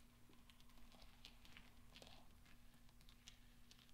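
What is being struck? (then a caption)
Small steel balls. Hands gather small solid steel pachinko balls on velvet and roll them under the fingertips, producing soft, scattered bright clinks. The quiet taps are short and dry, heard over a steady low hum.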